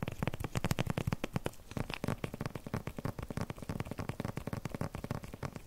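Fingertips and nails tap and scratch across a flat rectangular paper package wrapped in crinkly clear plastic film. The result is a fast, continuous run of dry, short taps with a soft crinkle and no ring, mostly low thuds with little high brightness.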